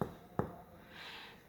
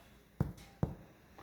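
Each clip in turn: First: dull percussion note over the liver. Second: resonant chest percussion over normal lung.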